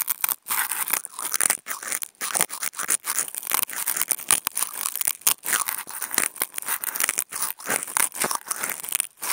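Toothpick tips fitted with contact mics are scratched and scraped over a thin white nonwoven fabric sheet. The result is a dense run of quick, dry, bright scratching strokes with short gaps and no low end.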